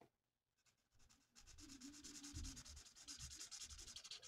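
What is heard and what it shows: The felt nib of a plastic alcohol marker colours a mandala on a thin, flat sheet of printed paper lying on a table, moving in rapid back-and-forth strokes. After a quiet start, a bright, scratchy rubbing hiss builds and settles into a steady, quick rhythm of strokes with soft low thumps underneath.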